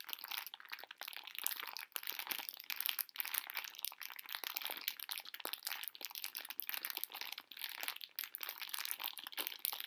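A full pink plastic-film bag of conversation heart candies is crinkled and scratched with long nails while the candies crunch inside. The result is a steady, bright crackle of dense, sharp clicks with almost no low end.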